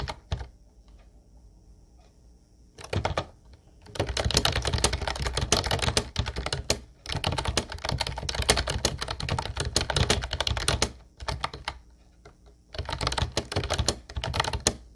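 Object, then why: Plastic keyboard with round keycaps. Fingertips type steadily on a light blue plastic Ubotie retro keyboard with round white keycaps. Dense bursts of quick, bright clicky taps with a low thudding body are separated by short pauses. A faint steady low hum sits underneath.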